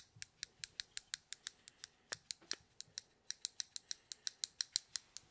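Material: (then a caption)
Plastic. Fingertips flick and roll the clicking parts of a small white plastic fidget stress cube with a black dial or joystick, held in the fingers. About 27 sharp, bright, ratchet-like clicks come in a quick steady run, each dying almost instantly with no low-end body, and the last clicks land slightly louder.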